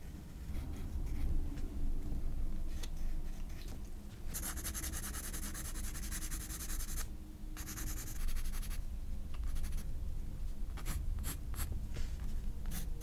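A pencil scratches and shades the hair area on a paper page of a spiral-bound sketchbook. Steady, bright strokes fill long stretches in the middle of the clip, then give way to quicker, sharper scratches near the end, all over a constant low rumble.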